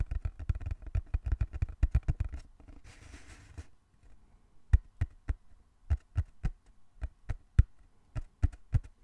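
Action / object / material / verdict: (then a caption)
tap / small closed cardboard box / cardboard / none. Fingertips tap on the surface of a small, closed, hollow brown cardboard box held in both hands, making dull, low, hollow thuds that die away almost instantly. A quick, dense run of tapping gives way to a brief soft, airy rustle. Then come slower, evenly spaced, sharper taps.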